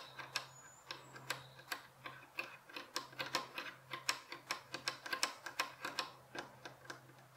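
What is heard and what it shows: Fingernails tap quickly along the top edge of a solid, light wooden bed headboard rail with visible wood grain, producing about 27 short, sharp, bright clicks in an irregular, typing-like rhythm. A faint steady low hum runs underneath.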